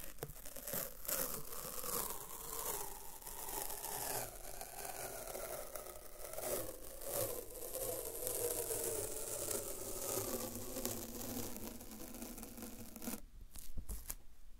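A strip of thin white paper masking tape is stretched between both hands while a loop stuck to itself is slowly peeled open. It makes a steady crackling, tearing rasp with faint whining tones that drift in pitch. The peeling stops near the end, leaving a few short crinkles.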